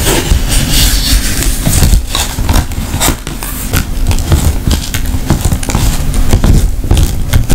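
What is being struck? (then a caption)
Woven rattan handbag. Long nails tap and scratch the tight woven surface of a round, hollow rattan wicker handbag closed with a leather snap tab. Quick dry taps and rough scraping crackles repeat steadily over a low, hollow rumble.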